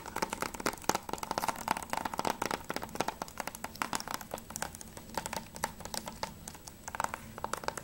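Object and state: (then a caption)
Plastic game case. Fingertips and nails tap quickly on the cover of a closed hard plastic PS3 game case for Mirror's Edge, which is turned from back to front. The result is a dense stream of short, dry clicks with a hollow plastic ring around 890 Hz and bright, crisp edges.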